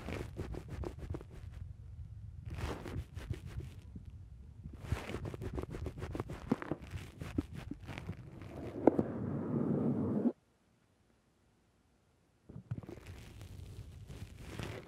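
Both hands squeeze the sides of a black foam windscreen on a microphone, then a fingertip presses into the foam, producing close, muffled crackling squishes with a heavy low rumble and bright, fizzy crinkles. The rubbing thickens into a louder, steady rushing scrape, cuts to about two seconds of silence, then the soft crackling squeezes resume.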